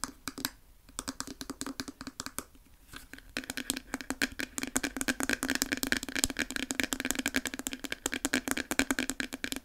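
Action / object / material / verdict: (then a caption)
tap / plastic hair brush back / plastic / none. Long nails work over a pink plastic hair brush, first around the bristles and then on its smooth, hollow plastic back. Sparse, soft, scratchy ticks for the first few seconds give way to fast, dense, uneven tapping with short, dry clicks and a faint hollow low-mid tone.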